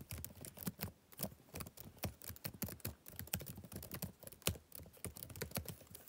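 Fingertips type rapidly on the plastic keys of a backlit laptop keyboard, producing quick, short clicks with dull low thumps and bright, crisp tops. The taps come in uneven bursts with brief pauses, each dying away almost instantly.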